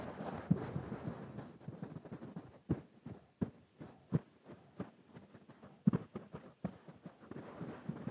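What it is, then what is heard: Velvet cushion scratched with fingertips. Fingertips scratch a mustard-yellow velvet cushion with pompoms held close to the face, giving soft, low, muffled rustling with no high content. Sharper brushing strokes stand out in short bursts against a quieter, dull scratching texture.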